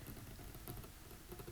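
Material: Nothing is struck.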